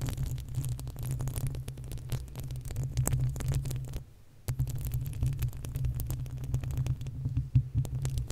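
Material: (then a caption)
Metal mesh. Long acrylic nails scratch and tap the uncovered, hollow metal mesh grille of a desktop condenser microphone. The sound is a dense, boomy low rumble around 130 Hz, with rapid scratchy rustling and many short, sharp clicks over it. It pauses briefly for about half a second near the middle, then resumes.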